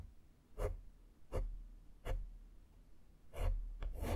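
A black foam microphone windscreen is stroked along its side with a small flat makeup brush. Five soft brushing swishes are heard, each a short, breathy rasp with a deep, muffled thump under it. The strokes come at an uneven pace over a quiet background.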